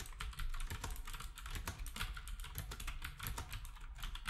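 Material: Plastic.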